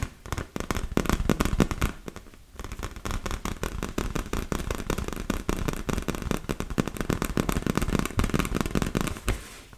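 Long nails tap and scratch the surface of a large, hollow, inflated yellow and blue PVC vinyl beach ball. The result is a dense, rapid stream of sharp, crackling taps with a low, hollow thump, briefly easing off near the two-second mark before continuing just as busily.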